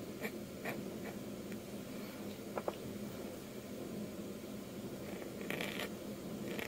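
A metal dip-pen nib held in fingers makes quick inking strokes across a flat sheet of white manga manuscript paper with a pencil sketch, lying on a desk. Short, dry scratches and brief bright ticks stand out over a steady low background hiss, with a few sharper nib strikes in between.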